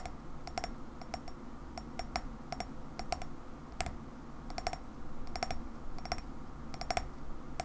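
Long fingernails tap and scratch the white unglazed base of a black-and-white printed ceramic coffee mug held tilted in the hands. Short, sharp clicks come in scattered clusters with a high, bright ring, over a soft scratching texture and a low background rumble.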